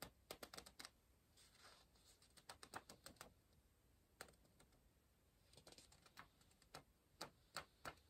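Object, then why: Pencil on paper puzzle book page. An orange pencil taps and scratches across the printed page of an open paper word search puzzle book. Quick, irregular, sharp ticks mix with brief soft scratching strokes, then the pencil lifts away from the page at the end.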